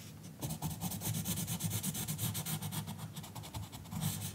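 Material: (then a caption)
Paper. A green colored pencil makes rapid, scratchy coloring strokes across the page of an open paper coloring book lying flat on a counter, while the long nails of a left hand rest on the page. The strokes come as a quick run of bright, raspy scrapes over a low, steady rumble.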